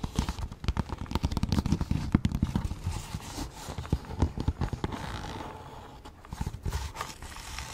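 A cylindrical, hollow Bolivian souvenir pencil case of painted, apparently pyrographed leather, roughly 20 cm long, is held in both hands and tapped and scratched with long manicured nails. Many quick, dry, low-heavy taps come in dense clusters, then give way to a softer continuous scratching before a few more taps near the end.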